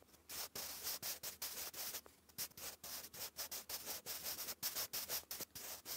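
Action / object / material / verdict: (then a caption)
scrape / graphite pencil on notebook paper / graphite, paper / none. A wooden graphite pencil writes cursive on a lined grey paper notebook page. It makes a continuous, bright, dry graphite-on-paper scratch in quick bursts broken by brief pauses between strokes, with almost no low end.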